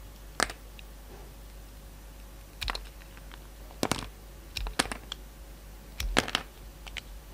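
A utility knife blade carves and shaves a solid, hand-sized pink soap bar with a magenta outer layer. It makes short, crisp, bright scraping and cutting clicks in scattered bursts over a faint steady low hum.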